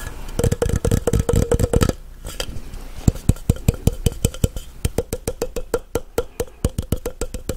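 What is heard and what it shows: A tall, empty, hollow clear plastic blender cup is tapped and scratched with fingertips and nails near the rim and on the side. Quick, dry taps come in a rapid run, then give way to a brief soft scratching. A steadier series of distinct hollow taps follows, each with a short tone around 500 Hz.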